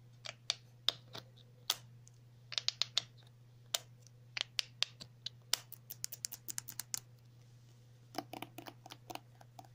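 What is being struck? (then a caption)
Plastic cosmetic tube. A pink and white squeezable plastic cosmetic cream tube with a cap, held in the hands, is tapped and scratched with long natural nails. The result is sharp, dry, high-pitched clicks in irregular bursts with soft scratchy brushing between them over a faint steady low hum. Each click dies away almost instantly.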